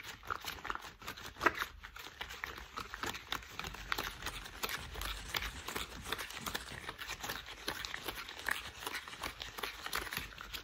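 Hands wearing thick cream rubber household gloves are rubbed and crinkled together. A steady stream of quiet, dense crinkling and squeaky rasps fills the clip, bright in tone with little low end, and a few sharper squeaks stand out.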